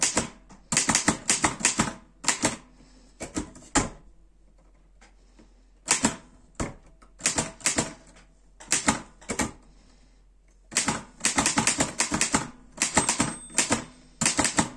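Fingertips type on the keys of a black metal Erika 5 portable typewriter, producing bright, crisp clacks in quick runs. The runs are separated by short pauses and one longer quiet gap, and each strike dies away almost instantly.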